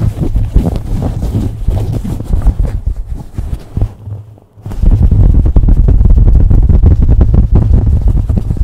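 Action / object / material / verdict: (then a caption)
scrape / cotton fabric baseball cap / cotton fabric / none. Fingers and nails rapidly scratch and rub a beige cotton baseball cap placed over the microphone, producing a dense, muffled, deep rumbling scrape with almost no high end. The rubbing softens and nearly drops out for a moment midway, then returns louder and more steady until the end.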